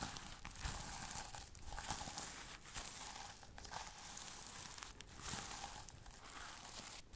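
A flat sequin-covered pouch has its sequins brushed and scratched with fingernails. It makes a steady, crinkly rustle with bright, hissy scratching and short crackly bursts that come and go over about seven seconds.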